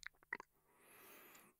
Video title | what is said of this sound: Designing a Better and More Attractive Microphone Shockmount? | I can tap on this thing and you hear nothing